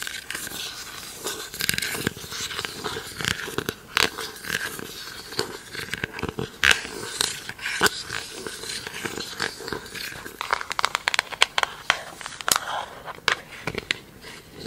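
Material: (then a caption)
Plastic. Long acrylic nails handle, tap and scratch a round, hollow, empty pink plastic lid with a label. Quick, bright plastic clicks and taps come over a steady scratchy rustle, with very little low end. Each tap stops almost instantly with no ring.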